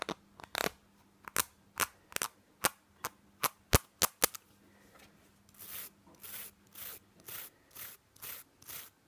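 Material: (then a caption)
Plastic. A small, hollow white plastic spray bottle with a green label is held in the hands and tapped and scratched with fingernails. Quick, sharp, dry clicks come first, then give way to slower, softer scratching strokes that rise and fade, over a faint steady low hum.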